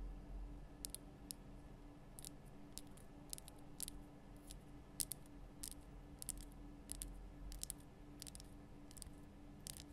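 Long nails tap the sides of a large, lit, pink Himalayan rock-salt lamp, a solid rough crystal block. The result is a quiet, irregular series of short, sharp, bright clicks that stop almost instantly. A steady low hum runs underneath.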